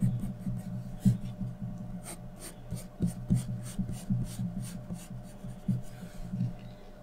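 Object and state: Graphite pencil shading on drawing paper.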